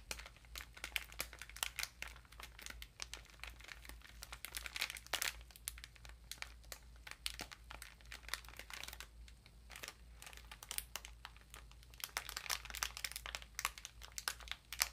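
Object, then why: Bath sponge in a thin plastic wrapper. A small bath sponge in a clear plastic wrapper is squeezed and crinkled with fingertips and long pink nails. Dense, bright, rapid crinkling and crackling clicks run throughout at a low level, over a steady low hum.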